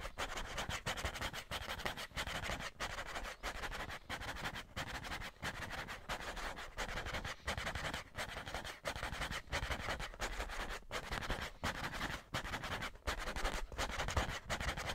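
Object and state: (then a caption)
Cardboard tissue box. A hollow cardboard Scotties tissue box, held upright, is scratched and rubbed with fingertips and nails. It makes a dense, dry, broadband rasping that stops briefly about every second, with a low hollow body under bright scratchy texture.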